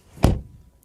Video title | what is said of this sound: 벤츠 AMG GLE53 쿠페 리뷰_GLE SUV vs GLE 쿠페 & AMG 모델 차이점 알아보기! | that sounds solid really cool